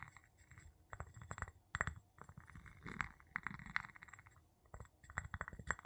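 The tip of a wooden handle taps and clinks on the bottom and side of a small, empty, clear glass jar held upside down. Irregular bursts of light, dry clinks with a bright tone near 1.9 kHz die away almost instantly, separated by soft, low rustling.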